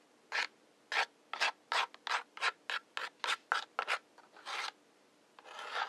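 Two wooden match heads, held in the fingertips, are rubbed and scratched along the brown striker strip of a large hollow cardboard matchbox. A steady series of short, dry, rasping scrapes follows, bright and gritty with no low end. The clip ends on longer, smoother rubbing strokes that swell toward the finish.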